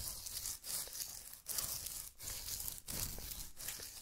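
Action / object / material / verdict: tap / adhesive paper lint roller / adhesive paper / none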